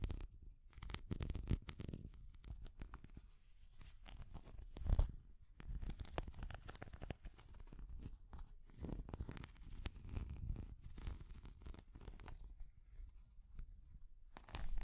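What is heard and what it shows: Long nails tap and scratch a small translucent orange hard plastic cat figure. The result is a quiet, continuous stream of soft, dull tapping and scraping that is mostly low and thumpy, with brief brighter scratchy bursts. One louder tap stands out near the middle.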